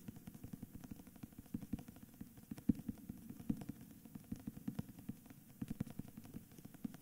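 Fingertips and nails tap and scratch the front cover of a solid cream hardcover book with a paper dust jacket and a portrait on the cover, held tilted in both hands. The quiet, dull taps come in a rapid, uneven stream, centred low around 200 Hz with almost no bright content, mixed with soft scratching between them. Each tap dies away almost instantly, with a few louder knocks standing out.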